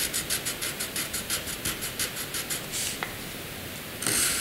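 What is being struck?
Graphite pencil on a paper sheet.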